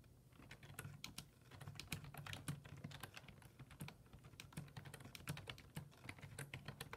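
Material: Plastic.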